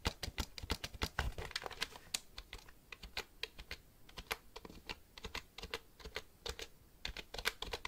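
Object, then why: Plastic computer keyboard. Fingertips type on the keys of a black plastic computer keyboard held upright. The result is a fast, uneven run of short, dry clicks and taps with bright edges and soft low thumps underneath, each one dying away almost at once.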